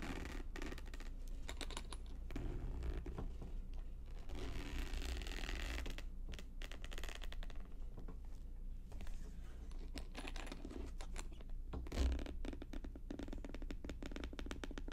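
Long nails tap and scratch the front and sides of a medium, rigid, polka-dot faux leather vanity (train) case resting on a table. The sound is a quiet, steady stream of rapid, dry clicks and scratchy rubbing that die away almost instantly, sitting over a low, dull thump, with one slightly louder knock near the end.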